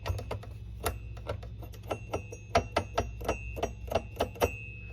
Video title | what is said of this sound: 1971 Socotel S63 Blue France | if I were to flick it a bit you'll hear the the little dinging sound